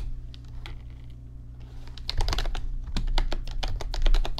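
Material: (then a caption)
Plastic. Fingertips type on the plastic keys of an RGB backlit computer keyboard. Sparse, soft clicks in the first half speed up after about two seconds into quicker, brighter clatter, all over a steady low hum.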